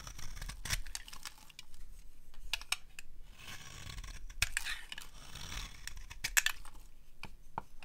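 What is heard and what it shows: A palm-sized solid dry orange soap bar, held in the hand, is scraped with a metal blade. Dry, crisp scraping and shaving strokes are heard, with sharp bright clicks as the blade bites, over a soft low rumble.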